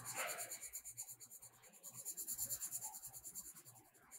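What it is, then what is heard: Colored pencil shading on paper. A blue metallic colored pencil is rubbed back and forth over a page of a spiral-bound paper coloring book lying flat, shading the petals. The quiet, bright, scratchy strokes pulse at roughly three per second in a loose, uneven rhythm, with almost no low end.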